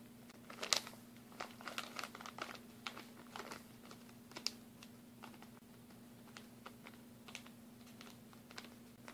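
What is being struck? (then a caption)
Plastic packaging bag of glue sticks. A clear plastic packaging bag with a blue label, full of mini glue sticks, is tapped with fingernails and crinkled. The result is a quiet series of short, sharp crinkles and ticks, bright and crisp in the high frequencies. A faint steady hum sits underneath throughout.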